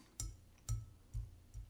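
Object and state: Tapped beer glass.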